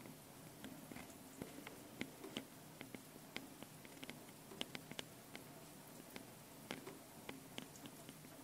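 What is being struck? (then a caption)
Metal mesh microphone capsules on a handheld recorder. Long painted nails tap and scratch both metal mesh microphone capsules on top of a small handheld Tascam recorder. Quiet, irregular sharp clicks and brief scratchy ticks ring bright and die away almost instantly over a steady low hiss with a faint hum.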